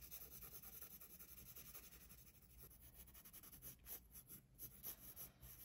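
A handheld graphite pencil scratches and rubs across the page of an open paper sketchbook lying flat on a wooden desk while shading a figure drawing. It makes a quiet, steady scratchy hiss with a high, bright edge. Toward the end, a few louder, sharper strokes stand out.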